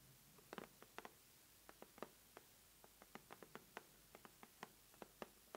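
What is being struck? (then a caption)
Corrugated cardboard mailer box. Long manicured nails and fingertips tap and scratch the lid of a closed, medium-size red corrugated cardboard subscription mailer box lying on a table mat; the box sounds hollow and seems to be filled. Quiet, short, dry taps come in an irregular string of about 17. Each has a midrange body and a bright click that dies away almost instantly over a soft background hiss.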